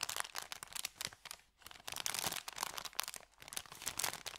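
Fingertips rub and crinkle an empty, folded, thin kraft paper bakery bag. The result is dense, bright, crackly rustling in quick bursts with almost no low end, briefly easing off around the midpoint before picking up again.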